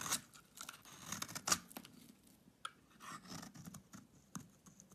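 A solid pink bar of soap, held in the hand, is shaved into flakes with a utility knife blade. Quiet, dry scraping and crackling cuts come in short irregular bursts, bright and crisp with little low end. Each cut stops abruptly with almost no ring.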